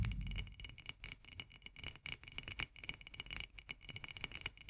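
Long nails tap and scratch rapidly on the flat white metal twist lid of a full glass jar of mandarin marmalade held upside down. The result is a quick, uneven patter of dry, bright clicks with thin scratchy rasps between them and almost no ring, plus a short low thump at the very start.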